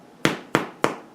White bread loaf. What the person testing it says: you can hear that hollow sound it will sound hollow that's the sound that they're done